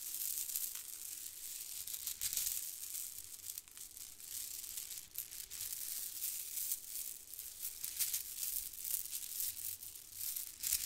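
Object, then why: Plastic faux-pearl bead garland. A clump of white plastic faux-pearl beads from a bead garland, held beside the microphone, is grabbed and crunched together by fingertips. The result is a steady, dense, bright rattling and crackling with quick clicks that barely ring, and almost nothing in the low end.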